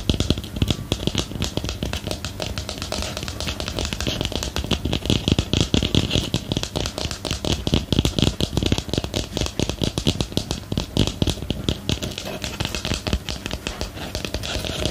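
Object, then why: Small ceramic planter pot. Rapid fingernail tapping on a small, hollow, empty white ceramic planter with a lace-pattern rim, held in the hand. It makes a steady stream of dense, short clicks with a bright ticking edge and a low, hollow body. Each tap dies out almost at once, and the pace and loudness stay even throughout.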